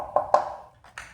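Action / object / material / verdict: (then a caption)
tap / plastic bicycle helmet shell / plastic / thin. A plastic bicycle helmet shell is tapped three times to compare it with another helmet, giving light, hollow knocks with a ringing mid-range tone. The ringing sound suggests its plastic is thinner than the other helmet's.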